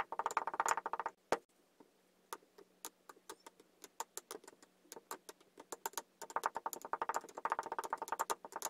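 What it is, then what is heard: Kinetic sand tamped in a glass. A wooden muddler tamps layered blue and green kinetic sand down inside a tall clear glass. Dense flurries of soft, dry, crackly taps open and close the clip, with sparser, separate taps in between over a faint low hum. Each tap is short and dull, with almost no ring.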